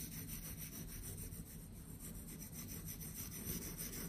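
A hand-held patterned metal knife blade cuts and scrapes through solid blocks of pink kinetic sand, slicing off the studs so they crumble. The result is a soft, continuous, gritty rubbing and scraping sound, mostly low and muffled, with a faint bright hiss on top.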